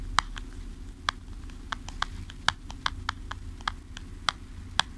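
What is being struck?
Small cardboard product box.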